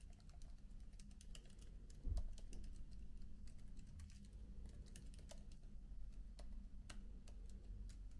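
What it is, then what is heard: Laptop keyboard being typed on. Fingertips with short nails type softly on the plastic keys of a MacBook laptop keyboard with an aluminium body. Quiet, quick, light key clicks run steadily over a constant low hum, with a slightly louder burst at about two seconds.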